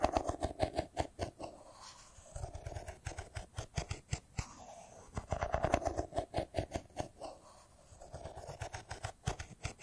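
A hand-sized, solid silver smartphone with a metal-and-glass body is held in the hands and tapped with fingertips and nails. The result is quick bursts of short, dry clicks and taps with a hollow tone around 690 Hz and a soft low thump. The bursts are separated by brief quieter pauses, and each tap dies away almost instantly.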